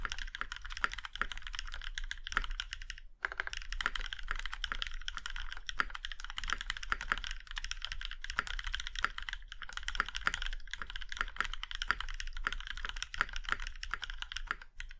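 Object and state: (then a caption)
Mechanical keyboard being typed on. Fingertips of both hands type continuously on a compact Plum Iron 165 mechanical keyboard with a plum-red aluminum case and black keycaps. The result is a steady stream of crisp, short, bright clicks and clacks with a low thock beneath, broken only by a brief pause near the three-second mark.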